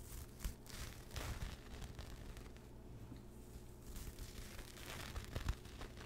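Fingertips and short nails scratch and rub a pastel speckled knit fabric pouch with a mint zipper, held beside the mic. Soft, dry rustling and scratchy bursts come and go over a steady low rumble. A few sharper scrapes stand out near the start and the end.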